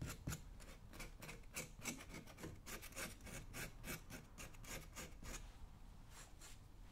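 A metal scraping tool is rubbed and scratched across the toe and upper of a worn brown leather work boot held in the fingers. Quick, irregular rasping strokes, about three to four per second, give bright, dry scratches over a low rumble. The strokes thin out and grow quieter toward the end.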